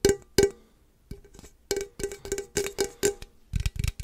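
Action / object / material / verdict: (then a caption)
tap / aluminum drink can / aluminum / none. A standard-size hollow aluminum energy drink can with pink and purple print, fill level not visible, is held close and tapped and scratched with fingertips and nails. Sharp metallic taps ring at a tone near 400 Hz with bright high edges, mixed with softer scratching and a few duller, low-heavy knocks at the end.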